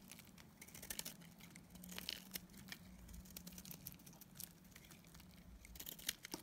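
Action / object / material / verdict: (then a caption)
scrape / bar of soap / soap / none. A metal utility blade shaves a solid pink bar of dried soap with a blue coating. Dry, crisp scraping and crumbly crackles come in quick bursts over a faint steady low hum. The cuts are bright and short, with no ring.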